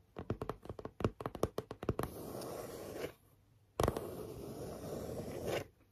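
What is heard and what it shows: Long fingernails tap a rapid series of dry, muffled knocks on the face of a flat grey chipboard panel with a pink stitched border, held in both hands. The nails then drag across the cardboard in a steady, rough scratch, pause briefly, and scratch again in a second long stroke.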